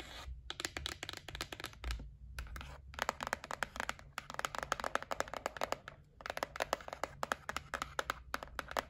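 A held white printed cardboard gift box is scratched and tapped with long nails. Rapid bursts of short, dry clicks and scratchy rustles come in several runs separated by brief pauses, with a faint low hum underneath.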